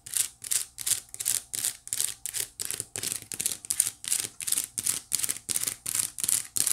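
Long nails scratch the side weave of a small, hollow, white woven wicker basket in a steady series of short, rasping strokes. Each stroke is a bright, dry, high scratch that swells and fades quickly with almost no low end.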